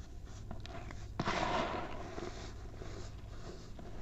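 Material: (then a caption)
Baking soda. Hands crush clumps in a white mound of baking soda and let the powder sift through their fingers. Soft, gritty crumbling and crunching rise to a sharper, louder burst near the middle, then settle into a steady fine rustle over a low hum.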